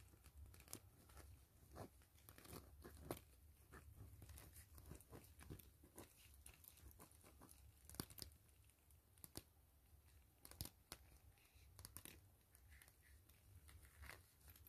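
Long nails scratch and tap across a flat, mostly empty gray translucent plastic mesh pouch with a zipper and fabric trim, lying on foil. Quiet, crinkly scratching runs throughout, broken by sharp, bright taps that die away almost instantly, over a steady low rumble.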